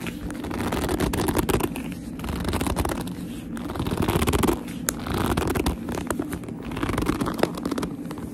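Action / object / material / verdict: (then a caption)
scrape / leather handbag / leather / none. Fingertips and long nails grip and scratch a hollow black leather handbag with a flap and strap, producing dense, squeaky rubbing and scraping in slow swelling waves. Sharp nail clicks and taps poke out of a steady low, muffled body.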